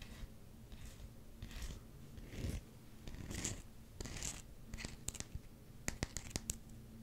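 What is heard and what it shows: Fingernails scratch the face and rim of a solid black rubber hockey puck, held with its logo side facing the camera. Soft, breathy scratching swipes come in slow bursts at first, then give way to quicker, sharp clicking taps with bright edges. A faint low hum runs underneath throughout.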